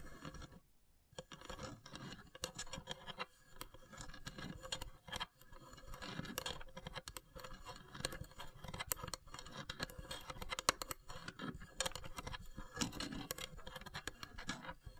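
Long grey nails scratch and tap the top of the carved, perforated lid of a long, narrow, hollow wooden incense box. The result is a quiet, continuous stream of dry, papery scratching with many short, bright clicks and taps scattered throughout. A brief near-silent gap comes right at the start.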